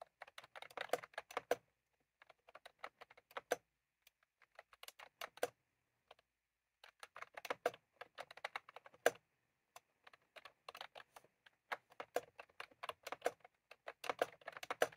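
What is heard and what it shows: Two hands type steadily on a cream plastic mechanical keyboard with round keycaps, pressing and tapping the keys with their fingertips. Rapid, crisp clacks come in bursts separated by short pauses, each click short and dry with a mid-range body around 500 Hz and little low end.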